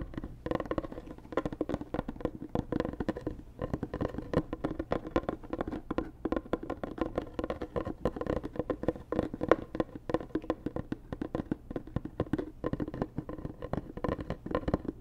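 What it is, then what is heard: Cardboard gift box tapped with fingernails. Long nails tap rapidly on a hollow, white rigid cardboard Dior gift box. The result is a dense, steady patter of short, dry, hollow knocks with a mid-range tone and almost no ring.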